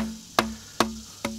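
Three knocks on a leaning tree trunk that tilts about 10 degrees into a barn housing a workshop and horses. Each knock gives a sharp, hollow, woodblock-like tock with a brief tonal ring near 230 Hz. The trunk is hollow and dying and must come down before it falls onto the barn.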